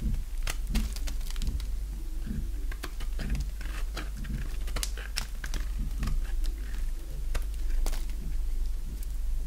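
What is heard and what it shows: A solid oval bar of dry green soap, held in the hand, is carved with a box-cutter blade. Short, bright scraping and cutting clicks come one after another in quick succession over a steady low hum.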